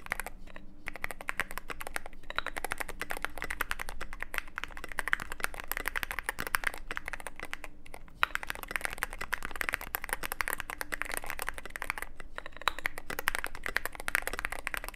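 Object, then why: Mechanical keyboard with plastic keycaps and metal case. Fingertips type continuously on a Cyberboard mechanical keyboard with plastic SA keycaps in a black aluminum case. A dense stream of short, sharp clacks runs throughout, broken by a few brief pauses, with each keystroke dying away almost instantly over a steady low hum.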